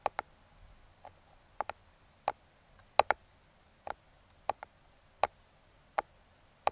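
Metal claw fingertip picks tap and trace the printed logo on a small closed brown kraft cardboard box. Fourteen short, dry, bright clicks ring out at uneven intervals, some in quick pairs, centered around a mid pitch near 800 Hz. Each stops almost instantly against near silence.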